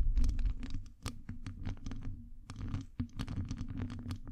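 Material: Metal mesh.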